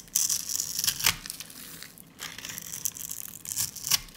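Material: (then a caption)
Soap. A solid, dry lilac soap bar held in the hand is scraped and cut with a utility blade, shaving off powder and small chips. The sound is a bright, dry, crunchy scraping in two stretches of bursts separated by a brief pause.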